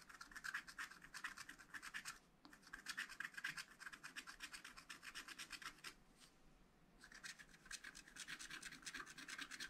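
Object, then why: Wax-coated scratch-art paper scraped with a wooden stylus. A wooden stylus rubs and scratches dense hatching on the leaves and flower of a wax-coated scratch-art paper pad, making rapid, dry, bright scraping strokes centered around 1.5 kHz. The quick back-and-forth strokes come in bursts, with brief lulls near 2 seconds and between about 6 and 7 seconds before the hatching resumes.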